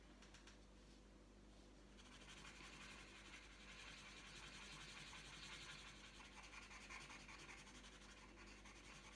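The tip of a green wooden coloured pencil rubs across a thin, flat sheet of printed colouring paper lying on a tabletop. It makes a quiet, bright, scratchy rubbing that grows fuller after about two seconds and continues as loosely rhythmic back-and-forth strokes. A faint steady low hum sits underneath.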